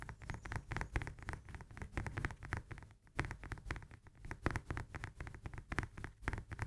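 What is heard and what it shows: Long nails tap quickly on the peel of a whole, solid fresh lemon held in the hands. The result is a rapid run of soft, dull taps, heavy in the low end with little brightness and almost no ring. The tapping pauses briefly around the three-second mark, then resumes.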